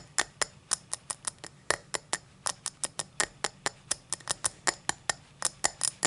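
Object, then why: Cut crystal tall glass. Long black nails tap and scratch the star cuts of an empty tall cut-crystal tumbler lying on its side. About 28 sharp, bright clicks come in an uneven rhythm, each with a faint glassy tone near 1.8 kHz that dies almost instantly, over a soft scratchy hiss with almost no low end.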